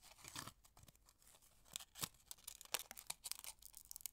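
A small, thin, empty purple flowered aluminium foil candy wrapper with a silver inner side is held close and crinkled and folded by fingertips with long red nails. Quiet, dry crackles and crisp rustling come in irregular bursts, almost entirely high and bright with very little low end. The sharpest snaps land in the second half and die away instantly.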